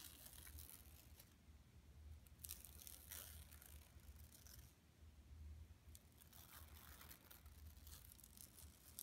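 Both hands scratch long nails across the printed mesh of a flat, empty yellow woven plastic mesh tote bag lying on carpet. Soft, bright scratching and crinkling comes in uneven bursts over a steady low hum.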